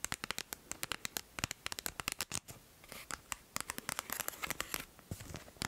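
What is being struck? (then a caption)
Flat cardboard gift card sleeve tapped and scratched with nails. A flat cardboard Shoppers Drug Mart gift card sleeve, held in the hand, is scratched and tapped by long nails. Many sharp, bright clicks and taps come in quick succession, mixed with dry papery scratching and rustling. The sound is crisp and close, with almost no ring after each hit.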